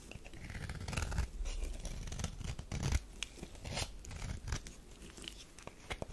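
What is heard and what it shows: A metal knife scrapes and shaves the edge of a thin slab of tan bar soap, producing a steady run of dry, crumbly scratching with brief bright shaving bursts over a low rumble. The strokes come in quick overlapping passes that swell and fade throughout.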